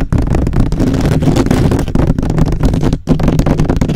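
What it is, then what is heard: Metal mesh microphone grille being scratched. Fingertips and short nails scratch and tap fast on the hollow, rounded perforated metal mesh grille of a black USB microphone. The result is a dense, continuous, boomy rumble of rapid scratching, heavy in the low end around 60 Hz with little high content. It is broken only by brief dips near the start, around two seconds and at three seconds.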